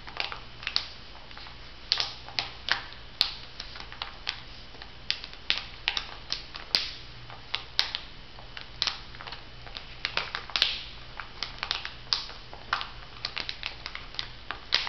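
A small, flat laminated foil and plastic sheet mask pouch is bent and squeezed while fingernails tap and crinkle it. Sharp, bright crackles and clicks come in uneven bursts over a faint steady low hum, each snap dying away almost at once.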